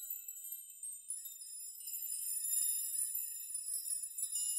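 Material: Metal.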